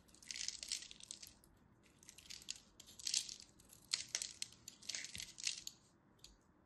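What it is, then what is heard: Dry soap bar. A small craft blade scores and scrapes the surface of a small, solid, rectangular bar of dry purple-and-white striped soap held in the hand, chipping off flakes. It makes quiet, bright, crisp scratching and crunching bursts in clusters separated by short pauses, with almost no low end and no ringing after each stroke.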